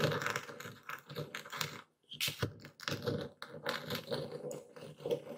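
A dark speckled stone pestle grinds and crushes coarse white Epsom salt in a full wooden bowl steadied by one hand. Dense, gritty crunching and crackling come in rapid bursts with a bright edge, broken by a brief quiet pause near the two-second mark before the grinding resumes.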